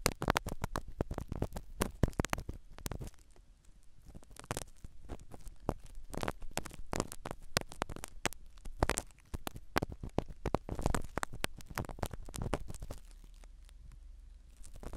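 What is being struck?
Foam-covered microphone in a silicone ear.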